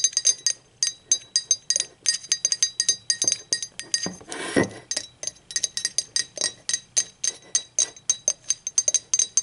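Long acrylic nails tap rapidly on the body and handle of a blue speckled glazed ceramic mug, hollow, as it is held and turned. The result is dozens of bright, high, glassy clinks, each dying away almost at once. A brief, broader rubbing scrape interrupts the tapping just before the midpoint.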